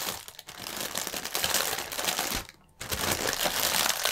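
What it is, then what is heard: Plastic air cushion packaging film. Hands pinch and twist sections of a clear plastic air-pillow strip of packaging film, crinkling the thin film. Dense, bright crackling runs throughout, with a brief pause about two-thirds of the way through before the crinkling resumes.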